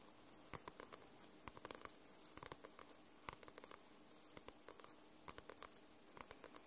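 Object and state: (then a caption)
Paperback book. Long nails tap and scratch on the card cover of a white paperback book. The result is a quiet, irregular patter of short, crisp clicks with a soft scratchy hiss between them.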